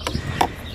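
A very rusty old VNT smart actuator with a metal housing, just removed from the turbocharger of a VW TDI with a P2564 code, is shaken in hand. Two short rattles are heard as loose bits of rust move around inside. It is the failed part being replaced.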